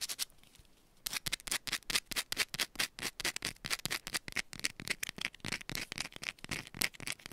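A small solid yellow bar of soap held in one hand is scratched and tapped fast and aggressively with long pointed nails. After a quiet first second, a rapid, uneven run of sharp, bright, scratchy clicks and rasps follows, each dying away almost at once.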